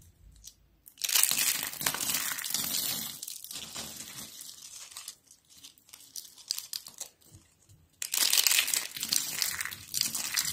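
Thin, brittle stacks of dried orange-yellow soap sheets are crushed in both hands with long pink nails over a pile of flakes. Bright, dry crackling and crunching comes in two loud bursts, with softer crinkling and snapping between them.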